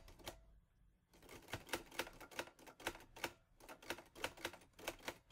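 Fingertips type on the keys of a teal metal Olivetti Lettera 22 portable typewriter. After one early keystroke and a brief pause, a steady run of sharp, bright mechanical clacks follows, each dying away almost instantly.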